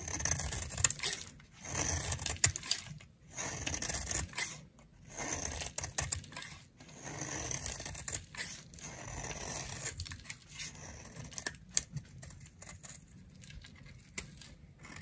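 A utility knife blade, held by a hand with long nails, shaves a dry, solid, round pink bar of soap resting in the palm. Bright, crisp scraping strokes come in uneven bursts with short pauses between them, mixed with a few sharp clicks over a soft low rumble.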